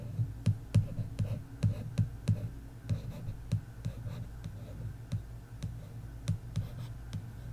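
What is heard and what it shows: Long nails tap and trace across the glossy card cover of an "Inheritance Games" paperback lying flat. About fifteen short, dull, low-pitched taps come at an uneven pace, each dying away almost instantly, with soft scratchy tracing between them.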